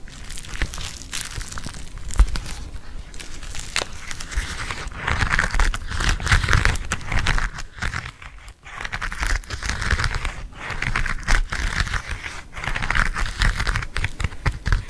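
Fingernails tap and scratch a hand-sized black glossy leather bifold wallet, both closed and open. The result is a dense run of close, crinkly scratching and soft tapping that swells in bright rasping bursts, with a brief quiet dip around the middle.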